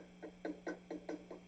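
A pencil taps six times on a glass vacuum tube, possibly the phase inverter, inside an Egnater Rebel 30 MKII guitar amplifier. Each tap is a short, dull knock that fades within a fraction of a second over a steady low hum, with no lingering ring. The tube checks out as okay and not microphonic.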